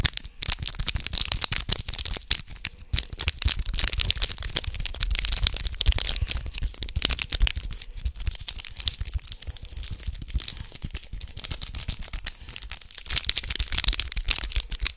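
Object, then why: Small foil wrapper packet. A small red foil condom wrapper is pinched between the fingertips of both hands close to the microphone, then crinkled and torn. Dense, bright crackling and crinkling rustles go on for the full fifteen seconds, with short sharp snaps over a low rumble. The sound never rings on and swells slightly louder near the end.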